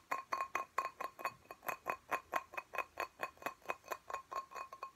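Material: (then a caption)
Glass. Fingernails tap rapidly on the wall of a small, full, clear glass plant pot holding soil and a cactus. About 25 quick, short clinks ring near 1 kHz with a bright edge and die away almost instantly, in an uneven but steady stream.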